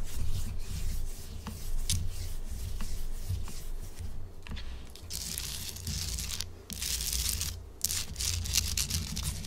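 Long acrylic nails rub and scratch across a large, solid pink Himalayan salt chunk held upright. The result is a steady, gritty scraping with bright, hissy bursts that swell and cut off over a constant low rumble.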